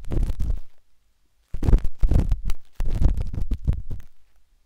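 A metal-tipped dot stick with a wooden handle scratches inside the soft, hollow canal of a pinkish-white silicone ear on a binaural microphone. Close, muffled, low rumbling scrapes come in three bursts of rapid rubbing and tapping, separated by short silences.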